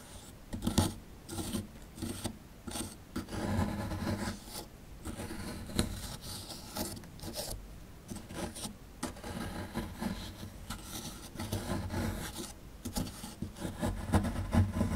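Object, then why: Plaster dig block scraped with a small plastic chisel. A small plastic chisel scrapes crumbly plaster near the bottom edge of a small, solid plaster fossil dig block held in the hand. The result is a steady series of dry, rasping scrapes and rubs in uneven bursts, with most of their weight low and little bright content.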